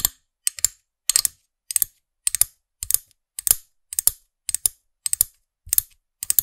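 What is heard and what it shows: Long fingernails tap the small hard plastic character head of a figurine-topped pen toy, held on its black plastic stem in front of a microphone. About 22 crisp, bright clicks come in quick pairs and triplets roughly every half second, each dry and gone almost instantly with almost no low end.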